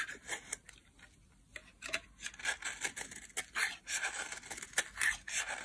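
A solid, dry orange bar soap held in the hand is carved into thin strands with a metal utility blade. Crisp, bright scraping and cutting strokes come in quick, irregular bursts, with a papery rasp centered around 1.8 kHz and almost no low end. Each stroke stops dry with no ring.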